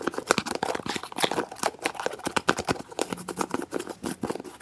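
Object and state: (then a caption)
Plastic jar lid twisted open and closed. A dark plastic screw lid is twisted open and closed quickly with fingertips on a small, hollow, translucent white plastic jar. The result is a rapid, continuous stream of dry clicks, ticks and scraping rasps, with bright crinkly edges and almost no low end. Each click dies away instantly.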